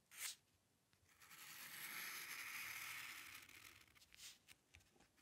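The metal nib of a dip pen scratches across a flat sheet of white drawing paper while drawing long curved lines. A brief sharp scratch is followed by a long, steady, bright, hissing stroke. A few short, quick scratches end the clip.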